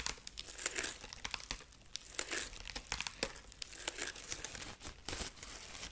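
Long nails scratch the dry husk body of a dried corn husk rabbit figurine near its arm and carrot. Close, bright crinkling and crackling comes in quick, irregular bursts with very little low end, each scrape dying away almost instantly.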